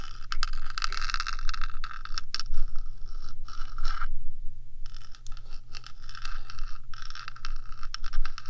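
Long nails on one hand scratch across the top of the small, hollow, rectangular metal box body of a 3Dio binaural microphone. The result is a steady, bright, grainy scraping with dense scratch strokes and a low hum underneath. The scratching thins briefly just after the four-second mark, then resumes.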